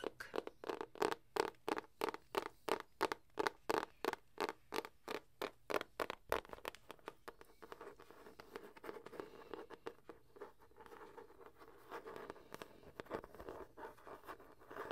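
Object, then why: Hardcover book with paper-covered board cover. Long acrylic nails tap steadily on the front of a medium-size, solid hardcover copy of "The Jungle Book" with a green illustrated, printed paper-covered board cover, making crisp, evenly spaced clicks for about six seconds. The sound then turns into dense, quicker tapping and raspy scratching across the cover.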